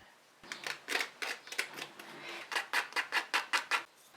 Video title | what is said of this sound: How To Make and Store Papdi For Chat - پاپڑی - #makeandfreezerecipes #recipe | यह कितनी क्रिस्पी है वह आवाज से पता लगेगा